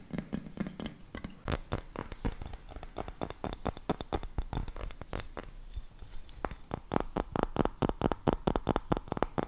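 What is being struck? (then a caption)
Glass object. A glass object is tapped quickly in a steady run of short, sharp clicks, each with a bright, thin ring high in pitch over a soft low thump. The taps slow and soften slightly in the middle, then grow louder and more even toward the end.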